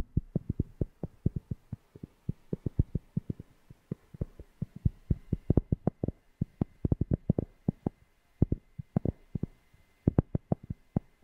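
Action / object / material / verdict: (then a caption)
tap / cork object / cork / none. A cork object is tapped close to a FIFINE K690 microphone, producing about fifty short, deep, bassy thumps in quick, uneven bursts over eleven seconds. Each tap dies away almost instantly, with a faint steady hum underneath.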